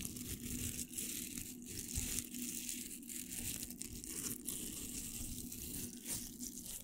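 Fingernails scratch across the hook surface of a pink hollow velcro hair roller, making a steady, crackly, bright rasping with dense high texture and faint low rumble underneath. The scratching runs continuously at an even level with no clear pauses.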